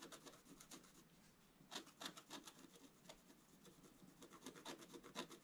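A wooden stylus scratches continuously across the upper-middle area of a flat scratch art sheet, a black coating over metallic card. Quiet, dry, bright rasping strokes repeat in an uneven rhythm, with a few sharper scrapes standing out above the steady faint scratching.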